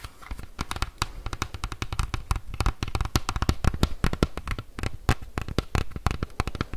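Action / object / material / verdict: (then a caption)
tap / hard plastic bike helmet shell / plastic / none. A hollow green hard-shell plastic bike helmet with vents is tapped and scratched with fingertips and nails. Rapid, dry, irregular taps land in quick succession, each a short hollow thump with a bright click and almost no ring. A faint scratchy rustle fills the gaps between them.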